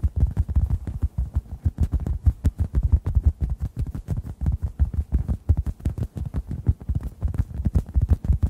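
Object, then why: Synthetic foam sponge. A hand-sized, solid, yellow-orange synthetic foam sponge is tapped with fingertips just above the microphones. The result is a steady stream of soft, muffled, low thumps, about three per second in an uneven rhythm, deep and boomy with almost no bright content. Each tap dies away almost instantly.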